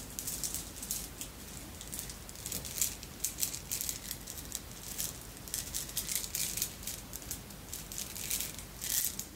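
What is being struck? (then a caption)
Glass bead necklace with metal links. A necklace of red and clear beads, apparently glass, with metal links is gathered between both hands and shaken so the beads rattle. The result is a quiet stream of bright, crisp clicking and rattling in irregular bursts, with short, dry taps and little low end.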